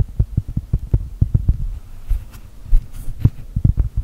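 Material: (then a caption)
Cork. Long gel nails tap and scratch a solid, round cork coaster printed like a cookie, producing a quick series of soft, muffled low thuds. The taps are short and dull with almost no ring, and a faint scratchy rustle sits between them.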